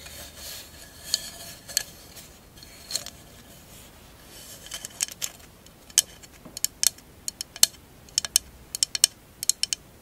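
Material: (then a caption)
Glass. A tall, hollow, empty candle holder covered in glass mosaic tiles is held sideways and scratched and tapped with long acrylic nails. Soft, bright scratching and rubbing in the first half give way to a quickening series of sharp, high, glassy clicks. Each tap dies away almost instantly with no low end.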